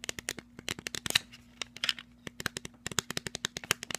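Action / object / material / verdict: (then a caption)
tap / plastic sunglasses / plastic / none. Fingernails tap rapidly on the frame, arms and dark lenses of a pair of black plastic sunglasses held close. The result is a quick, uneven run of sharp, bright clicks that stop almost instantly, over a faint steady low hum.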